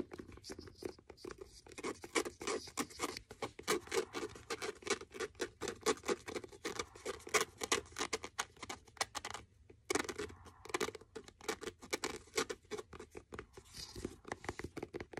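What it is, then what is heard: Faux leather hardcover notebook. Fingernails tap and scratch across the cover and edges of a blue faux leather hardcover notebook. Rapid, dry taps with a mid-range knock and a bright scratchy edge continue steadily, pausing briefly near the ten-second mark before resuming.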